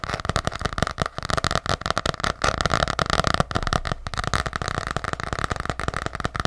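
A small ornate gold-green hardcover journal with an embossed cover is tapped rapidly with long nails close to the mic. The taps are quick, dry clicks with a low, solid thump, each one dying away almost at once.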